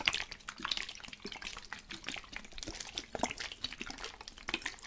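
A plastic spray bottle with water inside is shaken, and the liquid sloshes in quick, bright, splashy bursts. The clip is dense and mostly high-pitched, with little low-end.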